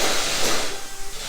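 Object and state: Nothing is struck.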